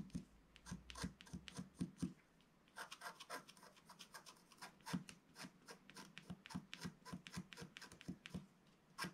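A flat, black-coated scratch-art page from a book lies on a table, held down by one hand while the other hand scratches along its lower edge with a wooden stylus. The result is a quick run of short, dry scratching strokes with a low papery tone beneath brighter, rasping hiss, and the strokes pause briefly before picking up again.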